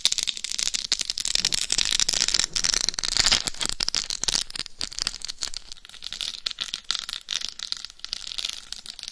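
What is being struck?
Rhinestone-covered hard-shell dummy head microphone.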